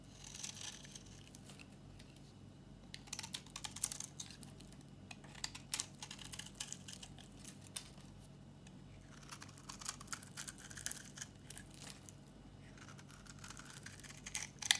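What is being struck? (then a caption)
Bar soap shaved with a blade. A solid, dry tan-brown bar of soap held in the hand is shaved with a metal box-cutter blade. Soft, bright scraping and crisp crackling come in quiet clusters of short strokes over a faint low hum.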